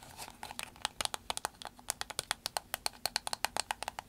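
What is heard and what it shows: Long acrylic nails tap and scratch on an empty, soft green vinyl glasses case with a snap button as it is handled. About 26 quick, dry, bright clicks land in an uneven patter over a faint crinkly rustle. Each click dies almost instantly, with little low end.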